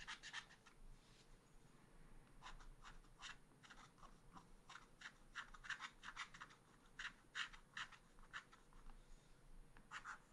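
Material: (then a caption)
Coated paper. A wooden stylus scratches along the tail feathers of a design on a small black-coated scratch art paper card. Quick, dry scratching strokes come in short bursts with brief pauses, each a bright, papery rasp with little low end. The sound is quiet and stops dead between strokes.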